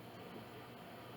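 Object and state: Nothing is struck.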